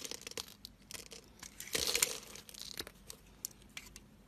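A blade slices across the scored grid on a solid oval blue Pearl soap bar held in the hand, cutting small cubes that fall away to show white soap underneath. Crisp, bright crunching and crackling cuts come in quick bursts, swelling into a denser, louder scrape in the middle before trailing off into lighter ticks.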